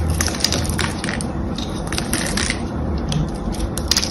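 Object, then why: Glycerin soap bar scraped with a blade. A small knife or blade scratches and carves the patterned surface of a solid blue, palm-sized glycerin soap bar held in one hand. The result is a steady, crunchy scraping with bright, crisp crackles and sharp clicks over a low, dull rumble.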